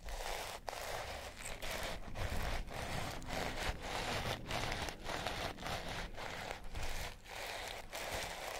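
Long nails scratch along the rope coils of a pink and purple sisal rope-wrapped cat toy. The result is a steady run of rough, dry rasping strokes with brief pauses between them, full and bright across the range with a low rumble underneath.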